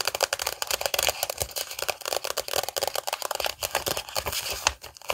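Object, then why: Glossy paper magazine cover. The cover of a glossy paper magazine, held in both hands, is rubbed and scratched with long nails. It makes a rapid run of dry, bright scratching and crinkling strokes with almost no low end. Each stroke stops at once, with no ring.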